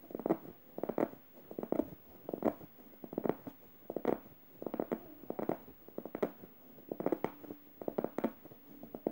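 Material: Plush fabric.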